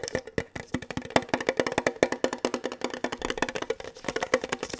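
Fingertips and nails tap rapidly on the flat sides of a hollow, mid-size rectangular red printed metal Kellogg's tin box held in both hands, one of them gloved. The roughly 29 taps are short, dry clicks with a hollow metallic tone around 250 to 500 Hz. Each tap dies away almost instantly in an uneven, continuous rhythm.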